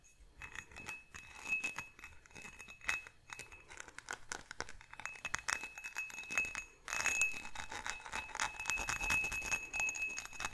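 A faceted, textured glass goblet, hollow and empty and held sideways, is tapped on its bowl and base with fingertips and nails. The result is a quick, continuous run of bright, dry clinks and ticks with a faint high ring, and little low-end body.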